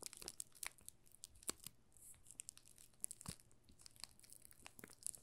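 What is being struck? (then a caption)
Soap bar in thin plastic film. Fingertips and short nails rub and crinkle the thin plastic film wrapped around a solid pink Marseille soap bar held in both hands. The result is a quiet, dense stream of sharp, bright crackles and crinkles, with a few louder snaps standing out.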